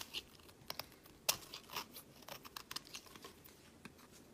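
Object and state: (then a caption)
Bar soap being shaved. A solid cream bar of soap, held in the fingers, is shaved with a metal blade, its shavings piling up on a mat. A quiet series of short, crisp, bright scraping crunches and crinkles follows, with one sharper click partway through, each sound dying away almost instantly.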